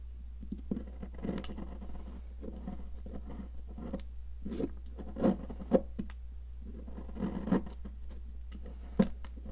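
A metal tool scrapes and gouges a solid, yellow, popsicle-shaped cast chalk block held in a hand with long nails, and chunks of chalk crumble off onto the table. The result is a dry, scratchy patter of short crunches and scrapes, with a few sharper snaps standing out. A steady low hum runs underneath throughout.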